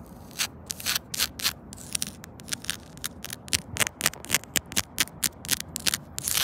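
Long pointed nails scratch fast across grey solid rubber-granule playground safety tiles, over the seam between them. A rapid run of short, bright, scratchy strokes rises from a low hiss, each one dry and quickly cut off, with little low end.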